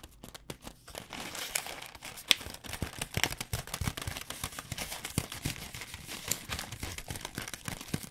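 A flexible plastic stand-up pouch of Pad Thai rice noodles is held in both hands and tapped and crinkled with long dark-painted nails. Quick, sharp taps ride over a steady, bright crinkling rustle with a light low thump beneath, each tap dying away almost instantly.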